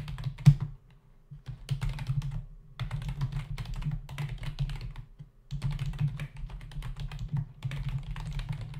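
Fingertips of both hands rapidly type on the hollow key caps of a black plastic membrane desktop keyboard, producing dense bursts of short, bright clicks and taps. The typing stops briefly near the start and again around the five-second mark, over a steady low hum.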